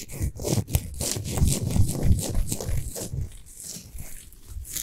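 Long pointed nails rapidly scratch the rough surface of a large, solid pink Himalayan salt globe lamp. The result is a dense, crunchy, uneven scraping texture with a heavy low-end thump and streaks of bright hiss.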